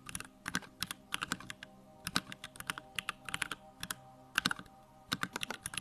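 Fingertips type rapidly on a small 65% Bakeneko65 mechanical keyboard with Durock lavender switches, a plastic case and pink-white plastic keycaps, resting on a wooden desk. The result is a quick, uneven stream of short, crisp, bright clacks with almost no low end and no ringing between strokes.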